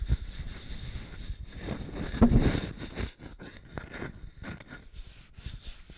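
Fingertips and nails rub and scratch the surface of a small, flat, solid brown wooden plaque with white painted lettering, held in both hands. A steady, low-heavy rubbing swells to its loudest scrape around the middle, then drops to quieter, intermittent scratches for the rest of the clip.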